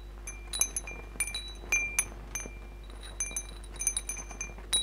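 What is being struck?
Metal tube wind chime with glass beads.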